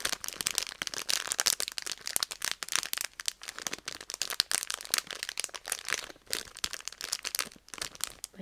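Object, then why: Plastic foil candy bag. A pink Petit Rinka chocolate bag made of plastic/foil film and filled with candies is tapped and crinkled with long red nails. Dense, bright crinkling rustles mix with quick, sharp taps and clicks throughout, with almost no low end.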